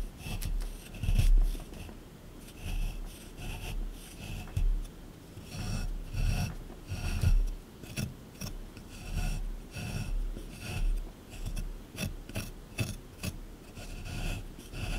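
A small chisel tool scrapes firmly across a solid plaster block sitting in a plastic tray, raising crumbly plaster chips. A series of dull, rasping scrapes comes in uneven bursts, mostly low and muffled with a faint bright grit on top.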